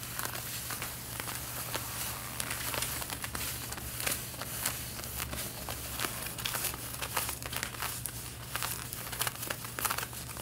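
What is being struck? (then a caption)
Denim jeans fabric. Long painted fingernails scratch around the front pockets and waistband of worn, stretched light-blue denim jeans. The result is a continuous, bright, dry scratching and crinkling texture with many quick scrapes over a steady low hum.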